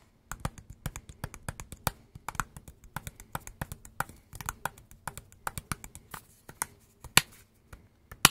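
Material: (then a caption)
Plastic. Fingertips and nails tap the plastic housing of a hand-sized, dark green and black Makita power tool battery pack with a solid casing, held in both hands. Quick, irregular, dry, clicky taps sound bright and cut off almost instantly, over a faint steady low hum. One noticeably louder tap lands near the end.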